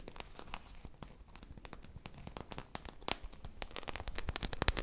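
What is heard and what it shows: A foam popsicle squishy toy with a beaded sprinkle surface, held in both hands, is scratched and squeezed up close with long nails and fingertips. It makes a dense run of quick, dry crackling and crinkling ticks, with sharp bright clicks over a low rumble. The ticks grow busier and louder toward the end.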